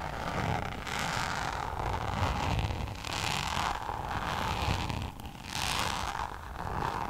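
Long nails scratch and tap on a hollow, flat Louis Vuitton coated-canvas zip pouch held close to the microphone. A continuous rough, bright scraping texture swells and fades in waves over a low rumble, with soft taps scattered throughout.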